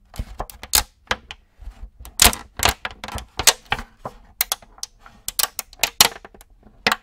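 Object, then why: Thin clear plastic cookie tray. An empty, clear plastic multi-cavity cookie tray is held in both hands close to the mic while fingers tap and squeeze it. The result is a rapid series of sharp, bright crinkles and clicks with very short decay, bunched in irregular bursts.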